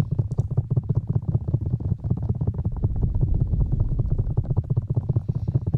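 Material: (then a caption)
Rubber. Fingertips of both hands rub and scratch the black rubber ear pieces of a 3Dio binaural microphone. The result is a dense, muffled, low thumping rustle of quick, slightly uneven strokes, almost entirely deep bass with no bright content.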